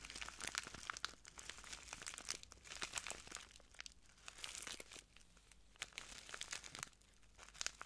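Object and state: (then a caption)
Plastic bag of granules being crinkled. A small clear plastic bag full of translucent granules is crinkled and squeezed by the fingertips of both hands. The result is a quiet, bright, steady crinkling and rustling, with soft crunchy bursts that rise and fall in waves.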